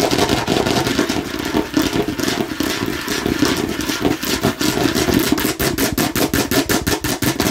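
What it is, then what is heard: Plastic watermelon-slice bottle. Fingertips and nails tap rapidly on the sides and front of a hollow plastic watermelon-slice bottle with a spiral straw cap. The result is a dense, clattery patter with a hollow mid tone, which settles into a steadier run of crisp, bright taps toward the end.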